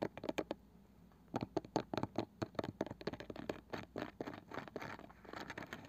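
Long nails tap and scratch quickly on the light wooden lid of a small, round wooden box with a woven cane side, likely hollow. A few crisp, dry taps open the clip, then a short pause, then a dense run of rapid clicks and scratchy patter that die away almost at once.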